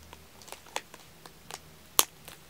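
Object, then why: Aluminum tealight cups in plastic film. Fingertips and nails tap and pick at the clear plastic film sealing the top of a pack of two rows of small hollow aluminum tealight cups. The result is a scattering of light, bright, quick-decaying ticks and crinkly clicks, with one sharper, louder tap near the end.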